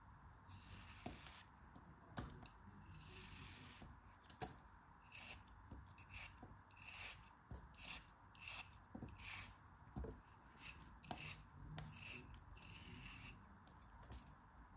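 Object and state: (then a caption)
Kinetic sand block being cut. A metal craft knife blade shaves and cuts the faces of a solid packed pink kinetic sand block held in the palm. The clip is a steady run of soft, gritty scrapes and crisp crunchy slices with a bright, hissy edge, each stroke dying away almost at once.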